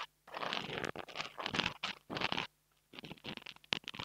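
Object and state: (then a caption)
Foam microphone windscreen, scratched. A long almond-shaped fingernail scratches and taps a small black, soft, porous foam windscreen on a mini microphone held in the fingers. The result is close, bright, crackly scratching in short bursts, with a brief silence partway through. It ends in quicker, lighter taps and scrapes.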